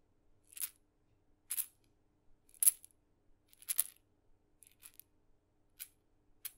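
A tiny painted wooden mini maraca, with a glossy red head dotted blue-white on a wooden handle and a hollow body holding a rattling filling, is held in the fingers close to the mic and shaken by hand, possibly with fingertip taps. It gives quiet, short, crisp bursts of bright, high rattle at irregular intervals, with almost no low end and no ring after each shake.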